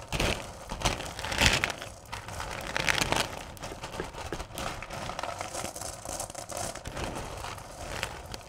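A large bowl filled to the top with small, solid candy corn is raked and dug through by two hands with long purple nails. The result is a continuous, dense rustling and clattering of the candies shifting against each other, with bright crinkly texture and a few louder surges.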